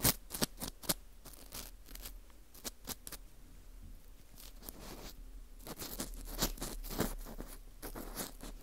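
An orange plastic earpick scrapes inside the center hole of a dry, porous slice of dried wheat gluten fu ring. The result is a string of crisp, dry scratches and sharp clicks with bright, airy edges. At first they come as separate short strokes, then they run together into denser rustling scrapes over a faint low rumble.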